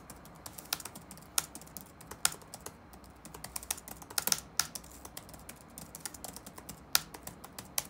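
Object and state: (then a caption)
Plastic laptop keyboard being typed on. Fingertips rapidly tap the black plastic keys of an open laptop resting on a wooden desk. The result is a steady run of bright, dry clicks, each dying away almost instantly, with a few sharper, louder strikes standing out among the lighter taps.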